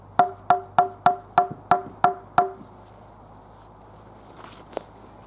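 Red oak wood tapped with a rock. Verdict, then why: Hard. A rock taps eight times on red oak wood, each strike giving a short, hollow wood-block knock with a clear tone around 715 Hz that dies away almost at once. The quick, bright clacks show the wood is very hard and tight-grained and does not dent. After a pause comes a faint rustle and one softer click.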